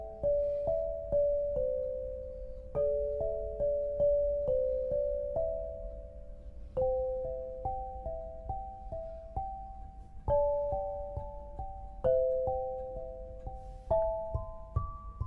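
An eight-bar lithophone of solid black granite slabs on a low frame is struck with two soft-headed mallets, red and green balls on wooden sticks, to play a melody. Clear, bell-like tones in the mid range ring with short sustain and soft decay, with notes overlapping into gentle chords over a steady pulse.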